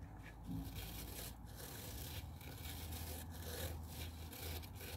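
Fingers rub and scratch the hollow blue plastic water tank of a handheld garment steamer resting on a wooden table, then move to the dark plastic rim near the brush head. The result is a steady, scratchy rasping with bright, hissy scrape bursts over a deep, low hollow rumble that stays at a fairly even, quiet level throughout.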